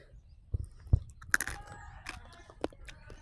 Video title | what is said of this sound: लहानपणी ही गोष्ट तुम्ही खाल्ली होती का? 🤗#minivlog #shorts #जंगलमेवा | आतून पोकळ आहे तुमला आवाज येतो बाहेर